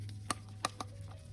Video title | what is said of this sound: FIRST START UP ON MY E46 BMW AFTER REBUILDING MY M54 ENGINE PART 8 | shake it and hear it flapping inside here